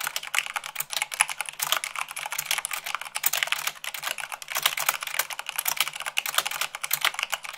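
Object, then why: Plastic mechanical keyboard. Rapid typing with fingertips and long nails on a white plastic mechanical keyboard at about 98 words per minute. A dense, continuous stream of bright, crisp key clicks and clacks with almost no low end, each click dying away almost instantly.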